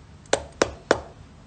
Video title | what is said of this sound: เอ็นดู "คิม" อ้อน "หมาก" บี๋เค้าความอยากกินทุเรียนวันนี้ " | ตอนเนี้ยแข็งโป๊กเลย